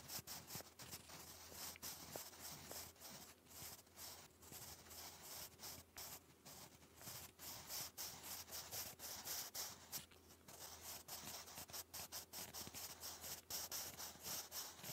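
A sharpened wooden graphite pencil writes English cursive across a thick sheet of grey lined cardstock lying flat. Steady, bright scratching and rubbing strokes repeat in quick, uneven bursts with brief pauses, carrying a soft hiss over a faint low hum.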